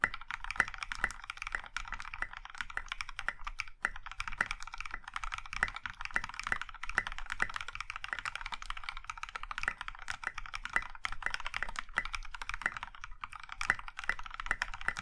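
Fast, steady typing on a compact Iron 165 mechanical keyboard in a maroon metal case with dark grey and pink plastic keycaps, both hands striking the keys with their fingertips. The result is a dense stream of short, crisp clacks, each fading almost instantly, with a bright plastic tone centered around 2 kHz over a soft low thud.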